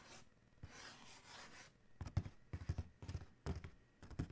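Fingertips scratch and tap near the logo on the closed lid of a large, hollow black cardboard Adidas shoe box. A soft, breathy scratching hiss comes first, then quick clusters of dull, hollow, low taps that die away almost instantly.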